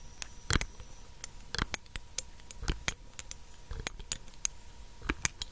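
Long acrylic nails tap the black dropper cap and the body of a small, clear glass dropper bottle held above the mic. The result is an irregular series of quick, sharp, bright clicks with very short ring, over a faint steady hum.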